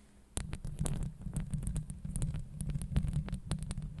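Long acrylic nails scratch and tap the metal mesh grille on the head of a Blue Yeti microphone. After a brief quiet start, a steady run of rapid, deep thumps and rubbing scrapes begins. Faint bright clicks sit above a heavy low rumble.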